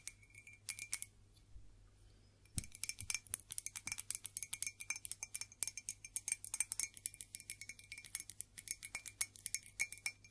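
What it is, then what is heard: Ceramic mug. An old Staffordshire ceramic mug made in England, a gift from a co-worker, is tapped and scratched. A few light clicks give way, after about two and a half seconds, to a quick, steady run of bright, high-pitched clinks that stop dead with almost no ring. A faint low hum sits underneath throughout.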